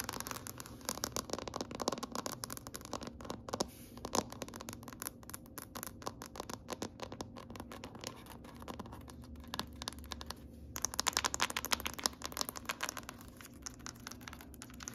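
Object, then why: Wood-grain tabletop. Long nails on both hands tap and scratch across a large, solid gray wood-grain tabletop. The result is a dense, continuous stream of quick, dry clicks and scraping strokes, bright and crisp with almost no ring. The activity grows busier and louder in bursts around the middle and later part.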